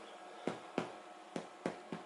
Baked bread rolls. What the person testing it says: When you get that hollow sound, then you know that they're cooked or baked rather all the way through.